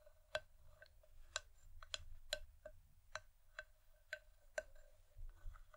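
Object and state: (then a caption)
Wooden bowl tapped with fingernails. Long nails tap rhythmically on the outer side wall of an empty, hollow wooden bowl, giving nine short, dry knocks with a hollow tone near 617 Hz and bright clicky edges. Each tap dies away almost at once over a faint low rumble.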